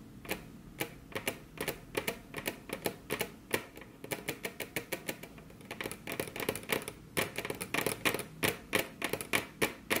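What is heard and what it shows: Both hands tap the tips of very long, curved nails on a flat, solid, glossy dark-brown wood-grain table top. The result is a quick, irregular stream of sharp, bright clicks at about three per second, each dying away almost at once. The clicks come in uneven clusters with brief pauses between them.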